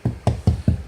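Five knocks on a drywall interior wall while an HVAC mounting plate is being installed, each a short, dull, low thud with a quick decay. The hollow sound shows the section is hollow drywall between the studs.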